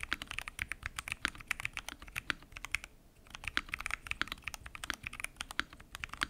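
Fingertips type continuously on a full-size mechanical keyboard with lubed switches, pink and mint PBT keycaps, and a transparent acrylic case. A rapid stream of crisp, bright keystrokes is heard, each clack short and dry with a slight low knock beneath, broken by a brief pause around the three-second mark before the typing resumes.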